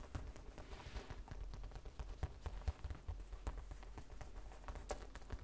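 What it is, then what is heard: Vinyl zip pouch tapped with nails. A small, flat, hollow pencil-case pouch of printed vinyl, with a colourful cartoon print and a beaded zipper charm, is held upright on a wooden table and tapped with long red nails. A quick, steady run of soft, dull taps follows. Each tap is a low thud that dies away almost at once, with an occasional bright nail click on top.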